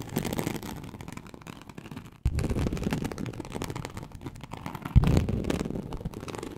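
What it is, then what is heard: Embossed leather sheet scratched. Very long acrylic nails of both hands slowly scratch a large, flat, teal snakeskin-embossed leather sheet (likely faux) lying on a surface. The result is a dense, low, rumbling scrape with a soft crackling texture. Two sudden louder bursts of scratching come at about 2.2 and 5 seconds.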